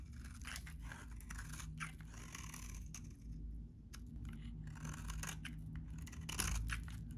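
A utility knife blade shaves curls off a solid, hand-sized, very dry, cream-colored vintage soap bar held in one hand. The strokes are quick and irregular, giving bright, crunchy scraping and tearing sounds over a steady low hum.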